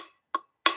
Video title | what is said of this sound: What is the meaning of life if there is no heaven or hell? no God or Devil? | hear the sound of it it sounds like aluminum